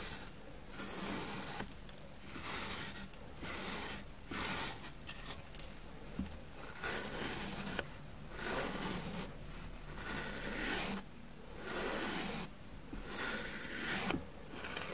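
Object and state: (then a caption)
Dusty foam sponge. A plastic spoolie brush is scraped across a rectangular grey foam sponge block, porous and dusted with powder, held in one hand, so fine dust falls off. Bright, dry scratching comes in repeated strokes with short quieter gaps between them, over a faint low background hum.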